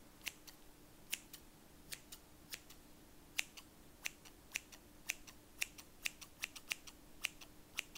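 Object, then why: Steel scissors. Large stainless steel scissors with black plastic handles and solid blades are held in the hand and opened and closed so the blades scrape and snip against each other, while other scissors lie still on a fabric surface. About 26 short, crisp, bright metallic snips sound at an irregular pace, each dying away almost instantly over a faint steady low hum.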